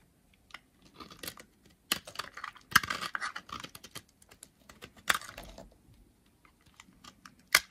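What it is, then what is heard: Dry bar soap being carved. A solid, dry brown bar of soap held in the hand has its flaky edge carved and scraped with a utility knife blade. The clip is a series of short, crisp, dry scraping and crackling bursts, bright and papery with almost no low end, separated by brief quiet gaps, and each cut stops dead with no ring.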